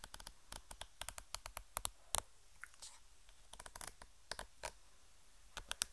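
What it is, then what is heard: Plastic cream tube. Long painted nails tap and scratch a white plastic squeeze tube of Tetraforce cream, apparently full and held in one hand. There are 26 quiet, sharp, bright clicks with short scratchy scrapes between them, each dying away instantly with no ring.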